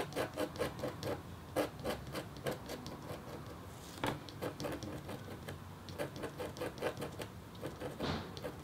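The metal tip of a red stylus makes short scratches across a flat, thin, solid black-coated copper-foil scratch art board. The result is a quiet, steady series of brief, dry scraping strokes with a bright, gritty edge over a soft low rumble.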